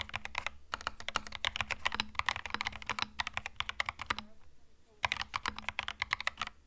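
Fingertips type on a compact plastic mechanical keyboard with plastic retro keycaps, producing rapid, bright, sharp clicks and clacks over a faint steady low hum. The typing runs fast and continuous for about four seconds, pauses briefly, then resumes at the same pace.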